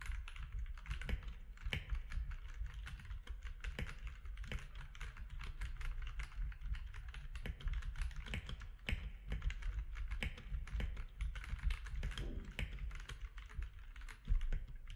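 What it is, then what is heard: Plastic mechanical keyboard. Fingertips of both hands type steadily for fifteen seconds on a compact mechanical keyboard with grey, white and orange plastic keycaps. The keys give a dense run of short, sharp clacks with bright edges, set over a steady low rumble.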